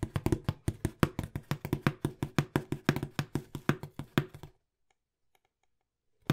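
A small, hollow brown cardboard box is held beside the mic and tapped rapidly with fingertips, giving about 28 quick, dull, low-pitched thumps over roughly four and a half seconds. A near-silent pause follows, with one faint tick, before another tap begins at the very end.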